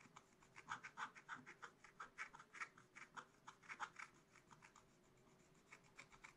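A wooden stylus scratches repeated strokes into a black-coated scratch-art card in a spiral book. It makes a quick series of dry, rasping scrapes that are midrange and bright, over a faint low hum. The strokes are quiet and close, and grow softer near the end.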